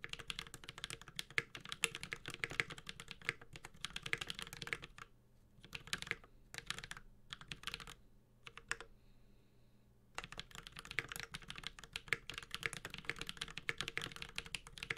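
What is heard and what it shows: A 65% mechanical keyboard, the Space65 Cybervoyager with an aluminum case, ABS keycaps and Holy Panda switches, is typed on with the fingertips of both hands. Dense, bright, short clacks run steadily with no ringing tail. Around the middle the typing slows into sparse bursts and brief near-silences, then resumes at full pace.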